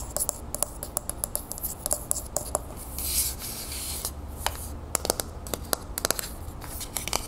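A medium, hollow, copper-colored Vaseline metal aerosol spray can is held in the hands and tilted while long nails rub and scratch along its side. The result is a quick run of sharp, dry clicks and scrapes with a slight metallic ring around 630 Hz. Midway there is a brighter, hissy stretch of continuous scratching over a low background rumble.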